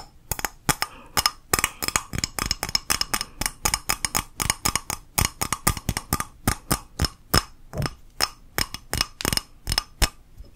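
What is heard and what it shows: An empty, hollow pink ceramic coffee mug is tapped with long nails on its outside and rim in a quick, steady run of some 45 clicks. Each tap gives a bright, high clink that dies away almost at once with a faint low knock underneath.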